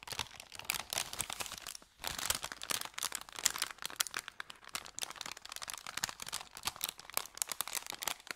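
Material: Paper.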